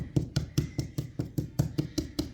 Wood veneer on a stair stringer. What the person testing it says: the veneer ricocheting back off of the solid